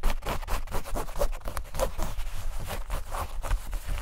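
Long nails scratch quickly back and forth over light-blue denim shorts, across the fabric and pocket area. Rapid, repeated, rough scraping strokes run together in a steady stream, with a dull, low-heavy tone and little brightness.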